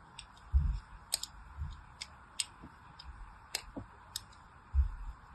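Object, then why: Bar of soap. A fine blade scratches and cuts diagonal grooves into the surface of a solid pink bar of soap held in the hand. A series of short, bright clicking scrapes is heard, with a few soft, low thumps and a faint steady hiss between them.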